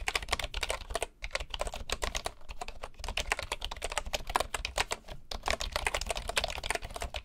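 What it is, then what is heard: Bamboo wooden keyboard being typed on. Both hands type with their fingertips on the wooden keys of a bamboo keyboard, making a rapid, steady stream of short, bright clicks over a faint low hum. Brief pauses break the typing near the first second and again near the fifth.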